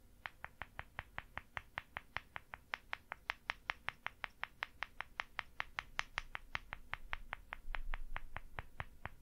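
A small, solid white plaster dig block with an embossed logo, resting on a grey table, is tapped from above with fingertips. About 46 quick, dry, bright clicks come in a steady but slightly uneven run, each peaking near 1.9 kHz and dying out almost instantly over a low background rumble.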